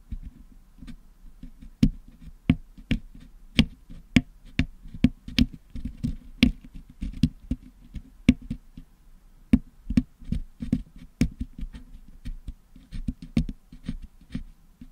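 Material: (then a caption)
Metal mesh. A wooden toothpick scratches and picks at the hollow metal mesh dome grille of a Blue Yeti microphone packed with blue and yellow putty, cleaning the putty out. Sharp, dry clicks and taps pop out steadily over a low, muffled scraping rumble, each one dying almost instantly.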